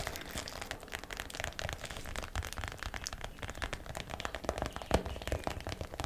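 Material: Plastic.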